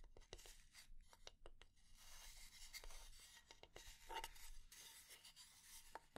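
A solid, light wooden kitchen spatula has its flat head tapped and scratched with long nails. Quick, dry taps come first, then longer bright, rasping scratch strokes mixed with more taps, some carrying a faint ring near 900 Hz.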